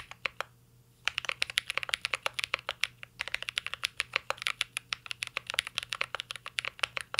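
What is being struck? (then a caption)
Mechanical keyboard with metal case and plastic keycaps. Fingertips of both hands type on a full-size CYBERBOARD R3 mechanical keyboard with an aluminum case, plastic keycaps and Holy Panda switches. After a few opening taps and a brief pause, a steady, rapid run of short, bright clacks follows with no low-end thump. Each keystroke dies away almost instantly.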